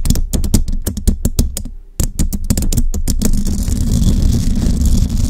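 Long rhinestone nails on both hands tap rapidly on a hollow metal mesh microphone grille, making a quick run of sharp clicks over deep, booming thumps, with a brief pause near the two-second mark. About three seconds in, the taps give way to continuous scratching across the mesh, a steady gritty rustle over a low rumble.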